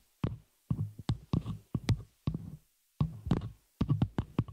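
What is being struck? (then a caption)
Metal microphone shock mount. Long nails of both hands tap and scratch the hollow, open metal frame of a small spider-cage shock mount holding a microphone. Quick bursts of sharp clicks each carry a deep, boomy low thump that dies away almost at once. The bursts come in irregular clusters separated by brief silences.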